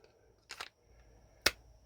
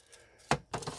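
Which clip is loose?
The second.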